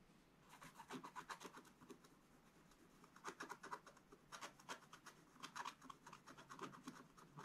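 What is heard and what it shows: A wooden stylus held upright scratches the black coating of a scratch-art page in a spiral book, working in short strokes across the upper area. The result is a quiet, dry, raspy scratching made of rapid bursts with bright edges, grouped into clusters with brief pauses between them.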